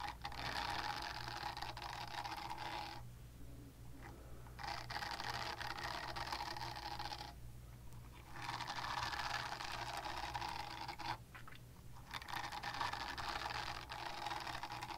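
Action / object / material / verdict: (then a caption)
scrape / silicone cleansing pad / silicone / none. Long dark nails scratch a small pink silicone cleansing pad, making dense, bright, rasping scratches. These come in four long bursts separated by brief quieter pauses, over a steady low hum.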